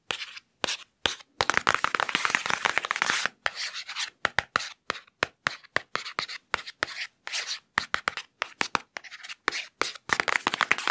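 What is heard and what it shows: Fingertips quickly trace and scratch across the padded foam cover of a hardcover picture book, held upright and later turned. Rapid bursts of dry, bright scratching and rubbing come in clusters broken by short silences, with almost no low end.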